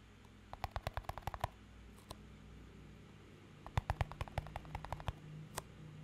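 A small, empty clear plastic cup with a green band is tapped and scratched with fingertips and nails. Two quick runs of short, dry clicking taps come with a few isolated taps, each decaying almost instantly. A steady low hum sits underneath.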